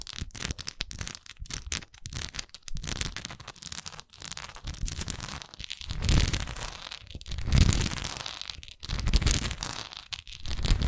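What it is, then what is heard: Wax pillar candle. Long acrylic nails tap and scratch the textured side of a large, solid wax pillar candle with a raised swirl pattern, held upright. Dense crackly scratching and quick, irregular taps run throughout, with a heavy low-end thump. The scratching swells into louder rasping passages in the second half.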